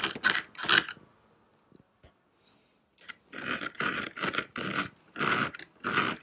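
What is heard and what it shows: Fingertips and nails scratch and tap the brick-textured surface of a hollow, grey textured plastic model castle tower standing on a green base in a nativity scene. Two loud, hissy scratching bursts come first, then a quiet gap with a few faint taps. A steady run of longer, bright scraping bursts follows.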